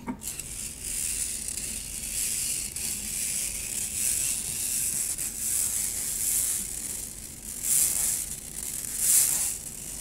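A stainless steel wire-mesh strainer is scratched with long nails, making a steady, bright, hissing scrape with almost no low end. The scratching holds at a fairly even level, swelling into louder rasping bursts near the end.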